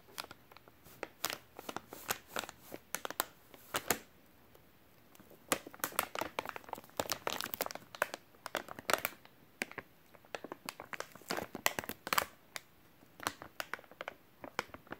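Fingertips rub and crinkle the film of a full, white soft plastic wet wipes package. Dense, crisp crackles come in irregular bursts, with a short quiet pause around the four-to-five-second mark. The sound is bright with almost no low end and no lingering ring.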